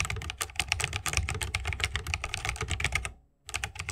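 A 60% mechanical keyboard with a bamboo wood case, plastic keycaps and tactile switches is typed on rapidly with the fingertips of both hands. Dense, bright clicky keystrokes layer over a low thock. The typing stops briefly near the end, then resumes.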